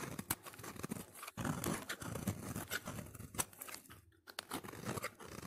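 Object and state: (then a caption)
Soap bar being shaved. A solid orange soap bar held in the hand is shaved with a utility knife blade into long curls. Repeated crisp, crunchy scraping strokes with sharp clicks fill the clip, broken by a short quiet pause near the end before the shaving resumes.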